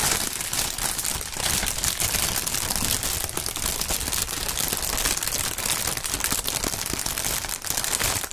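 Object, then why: Thin plastic air-cushion packing film. Clear, thin plastic air-pillow packing film with green print, partly inflated, is squeezed and crinkled between two gloved hands, popping its air cells. A dense, steady crackling and crinkling with bright, high-weighted texture continues throughout, punctuated by small pops with no pauses.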